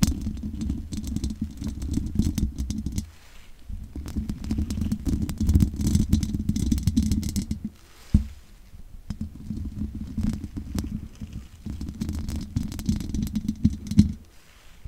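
Long nails scratch and tap the sides of the hollow metal mesh grille on a large condenser microphone. The result is a dense run of close, dry scratching with quick clicks, heavy in low rumble around a steady hum near 210 Hz. The sound comes in bursts with brief quieter gaps and a sharp tap near the eighth and fourteenth seconds.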